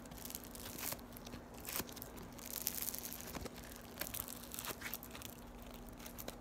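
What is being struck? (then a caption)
Floam, foam beads in slime. A solid piece of yellow floam (foam beads in slime) is stretched and squeezed between fingertips with long nails. It gives dense, rapid crinkling and tearing crackles with sharp bright snaps over a faint steady low hum.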